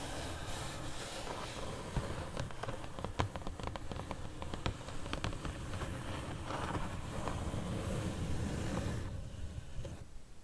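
Long purple nails tap and scratch the lid and edges of a closed, medium pink corrugated cardboard shipping box. Quick, sharp taps ring out over a steady low, rough scratching rustle, which grows a little fuller before dropping off near the end.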